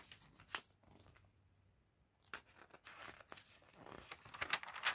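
A gloved hand with red-nailed fingertips turns the pages of an open, thin, glossy paper fashion catalog lying on a table. Soft, crisp rustles and bright page flicks come in bursts, with a near-silent pause in the middle. The flicks then grow busier and louder toward the end.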